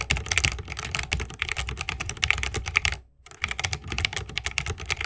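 Fingertips of both hands type fast on a 60% mechanical keyboard with plastic keycaps on Holy Panda tactile switches, set in a solid bamboo wooden case with RGB lighting and resting on a wrist rest. The result is a dense stream of short, crisp clacks with a bright peak around 2.3 kHz and a soft low thump under each press. There is a brief pause just after three seconds before the typing resumes.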